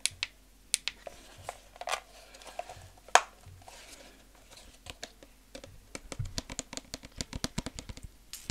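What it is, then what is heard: Plastic game controller, hollow clicking taps. Fingertips press and tap the buttons and shell of a hollow, white plastic handheld game controller held in both hands. Sharp, bright clicking taps come sparsely at first, then grow faster and denser toward the end, each dying away almost instantly.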